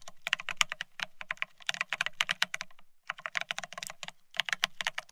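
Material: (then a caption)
Plastic. Fingertips of both hands type fast on a full-size beige split ergonomic keyboard with plastic-looking keycaps. The result is a rapid stream of short, bright plastic clicks with a soft low thump under each, broken by a brief pause near the middle.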